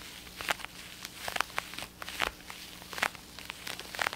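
An over-ear black and blue plastic gaming headset with padded ear cups and a hollow shell is held in both hands and tapped and scratched with fingertips and nails. Quiet, bright plastic clicks and scratchy taps come in an uneven, quick series over a soft, hissy background. Each tap is dry and ends almost at once.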